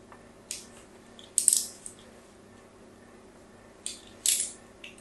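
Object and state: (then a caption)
Bar soap scraped with a metal tool. A solid pink Absolut bar soap, held in the hand, is scratched in a crosshatch pattern with a metal tool. Several short, dry scraping bursts come through, bright and hissy with almost no low end and no ringing, separated by quiet pauses.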